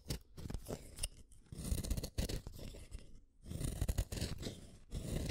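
A yellow wooden colored pencil, a small solid stick, is shaved one at a time by the metal blade of a yellow plastic hand sharpener. The result is a rapid run of dry, scraping, crunchy cuts, with low body and short bright edges and brief pauses between bursts.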